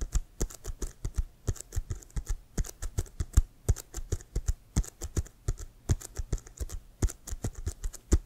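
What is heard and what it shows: Fingertips and nails rapidly tap and scratch the surface of a hollow, inflated brown pebbled-leather American football with white stripes, held up close. The result is an uneven patter of short, dull low thumps, each with a crisp, bright click on top, and the taps die away almost instantly.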